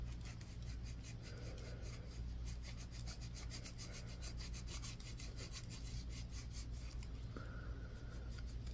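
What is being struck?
Bar of soap.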